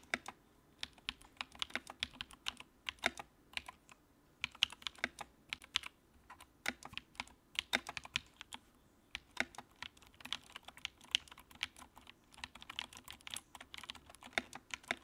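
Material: Plastic.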